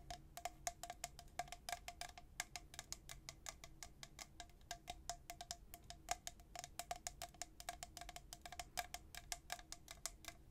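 A tall, hollow, white-coated stainless steel travel tumbler with a black plastic lid is held in one hand and tapped on its side by the fingernails of the other hand. Rapid, dense, bright clicking taps ring briefly with a faint metallic tone around 715 Hz, keeping a steady quick rhythm throughout.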